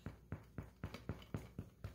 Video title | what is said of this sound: 3 HOUR SOURDOUGH? I regret not knowing about this sooner! | it sounds Hollow it doesn't feel heavy